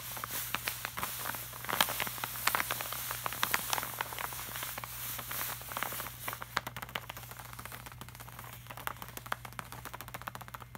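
Fingertips of both hands tap and rub across the surface of a flat, glossy laminated art print. Quick, crisp taps sound over a bright, papery rubbing hiss, with a steady low hum underneath. The taps grow sparser and sharper toward the end.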